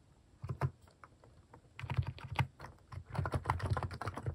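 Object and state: Plastic mechanical keyboard.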